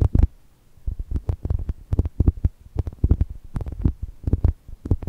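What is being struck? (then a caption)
Soft foam toast squishy. Long nails scratch and tap the lower face of a soft brown foam chocolate toast squishy. The result is a run of soft, muffled low thumps with brief scratchy crackles, each dying away almost instantly and coming in uneven clusters.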